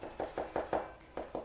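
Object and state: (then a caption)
Stiff, hard sneaker insole board. Fingers tap the inside strobel board of an Adidas POD-S3.1 sneaker, a textile-looking, fiberglass-like board that appears glued down. It makes a series of short, dry, mid-pitched knocks that sound like tapping on wood, showing the board is stiff and hard.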